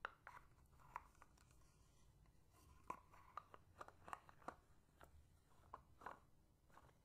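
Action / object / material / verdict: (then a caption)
tap / frosted plastic bottle / plastic / none. A medium, hollow, apparently empty translucent white frosted plastic bottle, held horizontally, is scratched and tapped along its side with long painted fingernails. Short, dry clicks and taps with a bright midrange tone come at irregular intervals. Soft scratching fills the gaps between them.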